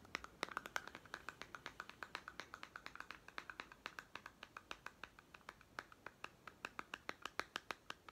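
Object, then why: Small plastic toy food tin. A small hollow plastic toy pet food tin with a paper label is scratched and tapped with short fingernails along its side and end. The result is a quick, steady run of crisp, dry clicks with a light plastic tone and bright upper edges, each dying away almost at once, with faint scratching between them.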